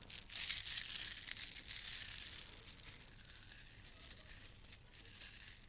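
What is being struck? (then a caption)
Plastic bead garland. Strands of a gold plastic bead garland are held up and left to hang, then rolled between fingers with long red nails. The beads clatter together in a dense, bright, crinkling rattle with almost no low end. It is loudest in the first couple of seconds, then continues more softly.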